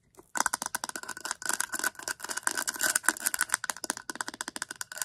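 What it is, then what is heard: Plastic tumbler tapped and scratched with nails. Long acrylic nails quickly tap and scratch along the side of a hollow, cylindrical Hello Kitty hard plastic tumbler. The result is a rapid run of short, dry clicks with a faint hollow ring around 1.5 kHz and bright, scratchy high edges, with almost no low end and little decay after each hit.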